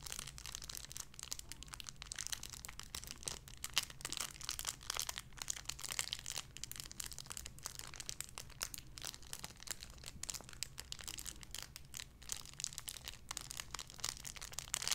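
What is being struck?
Thin clear plastic bag holding a soft squishy toy.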